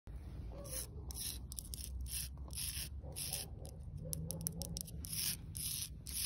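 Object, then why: Old clay brick. Long, pointed red acrylic nails scratch and rub the rough, porous surface of a single old, solid, broken, weathered clay brick lying among leaves and weeds. Repeated bursts of bright, dry rasping come one after another over a steady low rumble throughout.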